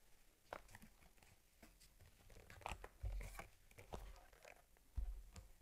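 Long nails scratch and tap along the top and edges of a small, closed, stitched cowhide leather camera case for an Argus C3 held in the hands. Soft scraping alternates with quick, dull taps, some louder than others, with a low thump under the strongest ones.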